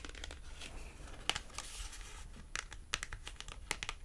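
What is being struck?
Paper price tag tapped and scratched with fingernails.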